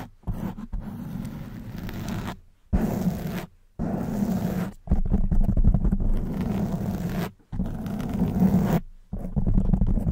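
Long nails grip and scratch a black foam windscreen on a silver microphone. The result is a dense, low, rumbling scrape with a muffled crackle, coming in sustained bursts separated by brief silences.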